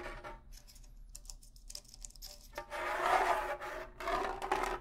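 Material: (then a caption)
Rawhide. A pair of rawhide bongo drums is held up near the face while the fingernails scratch across one hide head. Soft, bright scratching and rasping runs through the clip, light and sparse at first, then thicker and louder in the second half.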